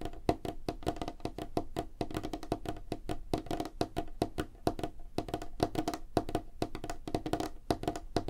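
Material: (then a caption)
Wood. Fingertips and nails of both hands tap rapidly on a solid, light wooden tabletop. The result is a fast, uneven stream of short, dry wooden knocks with a hollow mid tone near 310 Hz and almost no ring.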